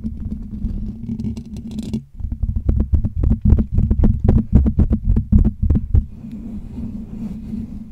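Fingertips scratch and rub the hollow metal wire-mesh dome grille of a Blue Yeti USB microphone, producing a dense, low, rumbling scrape with a steady hum underneath. From about two to six seconds the rubbing becomes a quick run of short, sharp scratchy strokes. It then settles back into softer, continuous rubbing.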